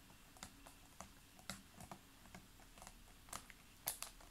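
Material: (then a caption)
Plastic. Fingernails tap and click on a large, clear, ridged PET water bottle full of water, making about twelve quiet, sharp, bright clicks at an uneven pace. Each click dies away almost at once, over a faint, steady low hum.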